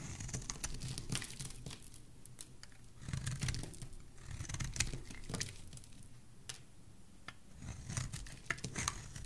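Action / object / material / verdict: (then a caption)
scrape / soap bar scraped with a metal blade / soap / none. A metal blade scrapes along the edge of a rectangular solid green soap bar held in the hand. The scraping comes as dry, crisp, crackling strokes with bright flicks over a soft low rumble, rising and falling in quiet waves.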